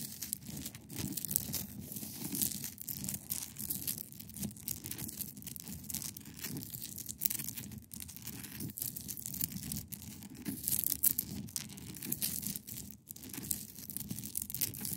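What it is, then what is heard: Ice block scratched with nails. Long pointed nails scratch across the top of a large, solid, clear ice block resting on a fabric surface. The result is a steady, dense, crackly scratching with bright, hissy highs over a soft low body, broken by short sharp scrapes that rise above the rest.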